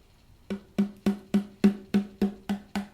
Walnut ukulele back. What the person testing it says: can feel by tapping it how thin it is and you can hear that sound